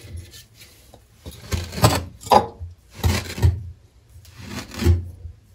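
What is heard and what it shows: A metal cleaver blade is pressed down through a solid, flat slab of green kinetic sand with stamped patterns, slicing it repeatedly. Each cut gives a dull low thud with a gritty, rasping crunch that fades quickly with no ring, separated by short quiet pauses.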